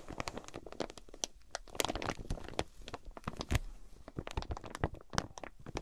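Long painted nails tap and scratch the clear plastic wrap on a flat folded quilted fabric item with card price tags on top, lying on a fluffy mat. Dense, quick crinkly taps and crunchy scratches follow one another with no pause, each dying out almost at once, with a bright crackle over a soft low body.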